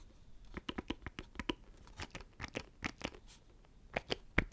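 A small, hollow black plastic audio interface box with knobs is tapped with fingertips and scratched with nails close to the microphone. The result is a quick, irregular run of short, dry clicks and scrapes with no ring, each mixing a low thump with bright, scratchy crackle.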